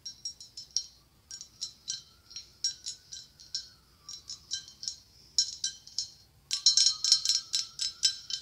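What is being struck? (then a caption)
Blown-glass pumpkin. Long acrylic nails tap near the top of a hollow white blown-glass pumpkin with a gold stem, giving about thirty quick, bright, glassy clicks in an uneven rhythm. Each tap rings only briefly with a high, chime-like tone, and the last few taps come faster and louder.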